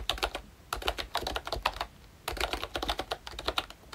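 Fingertips type on a pink plastic retro membrane keyboard from Royche with Disney Mickey Mouse styling, round keycaps and a hollow body. Fast bursts of light, bright plastic clicks run through two typing runs with a short pause between them. Each keystroke is quick and dry with almost no ring.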